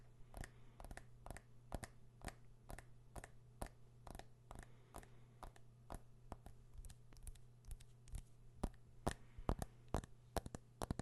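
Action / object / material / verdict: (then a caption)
tap / smartphone with metal back and glass front / metal, glass / none. A fingernail taps and scratches the body of a smartphone with a metal back and glass front, held in one hand. It makes a quick, uneven series of sharp, dry clicks that stop instantly, over a steady low hum. The clicks grow slightly louder and denser toward the end.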